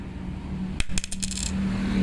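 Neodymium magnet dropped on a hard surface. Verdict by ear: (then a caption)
Genuine. A genuine N52 neodymium magnet is dropped in the same spot as a fake one and lands with a bright, coin-like ringing clink followed by several quick bounces over a steady low hum. The ringing sound sets it clearly apart from the fake magnet.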